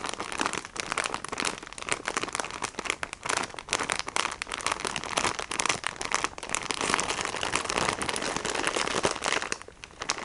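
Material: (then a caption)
Plastic film. Fingernails tap and scratch the clear and printed plastic wrapping of a pack of sponges held in both hands. Dense, bright crinkling and scratchy ticks run nearly continuously, with a brief quieter dip near the end.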